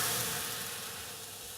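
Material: Nothing is struck.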